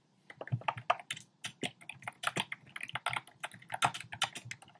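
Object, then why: Plastic typewriter-style keyboard. Fingertips type rapidly on a compact black plastic typewriter-style keyboard with round plastic keycaps. A steady stream of sharp, bright clicks and clacks, each with a soft low thump underneath, stops almost instantly after every tap.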